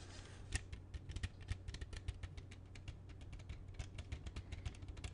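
Fingertips and nails handle and tap an open hard plastic CD jewel case with a black disc inside, small and hollow. A quick, irregular run of short, dry, bright clicks and taps plays over a faint steady low hum, each tap dying away almost instantly.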